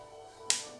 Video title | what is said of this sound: ZUPPETTA DI PISELLI ASPARAGI E ZUCCHINE - TUTORIAL - la video ricetta di Chef Max Mariola | sono belli scrocchianella. Così, senti quello come chiacchiera